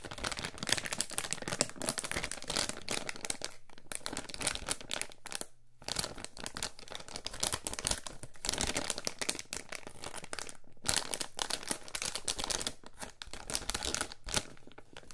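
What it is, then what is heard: Thin plastic bag being crinkled. A small, thin, flat, translucent plastic anti-static bag with a barcode label is held and crinkled between the fingertips of both hands, possibly being partly torn open along the way. Dense, bright crackling and rustling run throughout, broken by a few brief quiet pauses.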